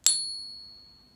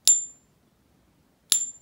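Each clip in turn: First: A single light tap draws a bright, high ring lasting over a second: a genuine silver coin. Second: Two bright, high taps with only a brief, thin ring; a counterfeit silver coin that fails the ping test.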